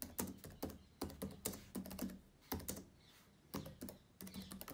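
Fingertips of both hands type and tap on the plastic keys of a black laptop keyboard. Quiet, quick clicks come in uneven bursts with short pauses, each tap a soft low thump with a brief bright click that dies away almost at once.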